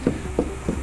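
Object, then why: Cured spray polyurethane foam on a substrate. Cured spray polyurethane foam on a substrate is knocked on three times to check its adhesion and listen for hollow spots, where there may be a blister or excess moisture in the substrate. Each knock is a short, dull, low thud with almost no ring. No verdict is given for this spot.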